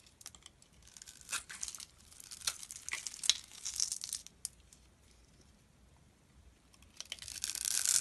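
A utility knife blade scrapes across the surface of a solid, palm-sized, rectangular dark brown soap bar held in one hand, scattering soap flakes onto the table. It makes bright, dry, crackly tearing scrapes in short bursts, goes nearly quiet for a couple of seconds, then ends with a louder, continuous rasping shave.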